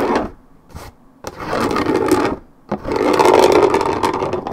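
Long red nails scratch quickly across the coated cardboard top of a 1.75 L Minute Maid paperboard orange juice carton. Fast, dry, rasping scratches come in bursts separated by short pauses, with a papery midrange body and a bright, hissy edge.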